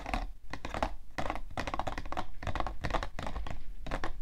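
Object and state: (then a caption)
Cardboard tissue box, hollow. Long nails scratch and tap on the side panel of a hollow, printed cardboard tissue box, making dense, dry scratching mixed with quick hollow taps. The taps are low and thumping with a brief papery rustle, and they die away almost instantly.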